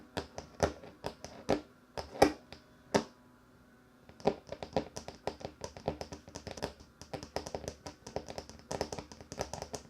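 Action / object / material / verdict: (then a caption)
tap / wooden table top / wood / none. Fingers tap on a wooden table top, making short, dry knocks with a mid-low body and a bright click that fade almost at once. A few louder, spaced taps are followed by a roughly one-second pause, then a quicker, uneven run of lighter taps continues to the end.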